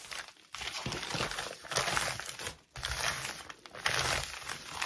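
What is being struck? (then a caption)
Plastic mailing bag. Fingertips and nails scratch, rub and tap a crinkled white plastic mailing bag lying flat on a table. Bright, dense crinkling and scratching comes in busy bursts, broken by brief quieter pauses near the start and just past the middle.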